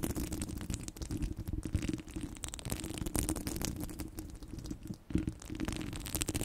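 Long blue nails scratch across the top of a domed steel mesh microphone grille. The result is a continuous, dense, rough scraping with a heavy low rumble and a steady hum-like band in the low mids. Faint bright crackles flicker over the top as the strokes rise and fall in irregular bursts.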